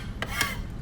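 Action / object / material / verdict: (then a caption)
scrape / steel trowel blade over a steel drywall screw in gypsum board / steel, gypsum / properly set. A steel trowel blade is run across a drywall screw in gypsum drywall after the screw has been driven in with a couple of pulls of an impact driver's trigger. Two brief scraping passes are heard with a changed, smooth tone and no tapping or catching. This shows the screw is properly countersunk, dimpled below the surface.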